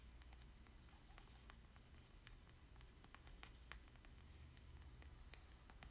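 A small, thin, solid plastic Splatoon amiibo card (Boy) is held upright in one hand while the fingertips of the other hand tap and rub its surface. Faint, short, bright ticks and scratches scatter through the clip over a steady low hum. The overall level stays quiet and even.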